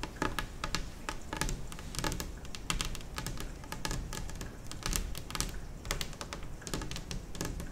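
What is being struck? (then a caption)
Laminate kitchen table top. Long acrylic nails on both hands tap rapidly across a large, solid, white glossy kitchen table top, likely laminate or lacquered board. The result is a dense, steady stream of bright, crisp clicks over a soft low thud from the table.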